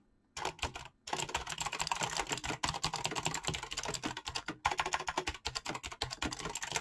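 Fingertips type rapidly on a full-size backlit mechanical keyboard with PBT plastic keycaps. The result is a dense, continuous stream of crisp, bright clicks with short pauses, after brief silence at the start.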